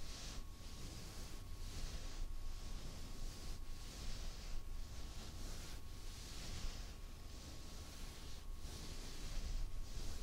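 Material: Nothing is struck.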